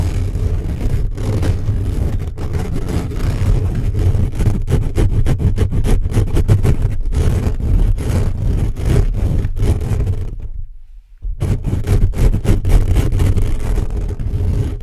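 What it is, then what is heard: Metal mesh microphone grille being scratched. Fingertips and short nails rapidly scratch and tap the hollow metal mesh grille of a black condenser microphone tilted forward. The result is a dense, fast, irregular rumble of boomy, low-heavy scrapes and thumps with almost no bright content. It stops in a brief near-silent gap around eleven seconds, then resumes just as thickly.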